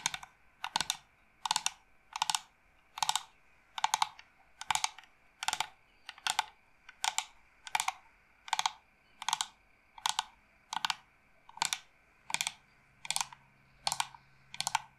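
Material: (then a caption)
Wood. Long nails tap quickly on the pierced carvings of an upright, hollow carved wooden incense box. The result is bursts of dry, bright clicking with a woody mid tone, heard in rapid clusters that repeat steadily over about fifteen seconds.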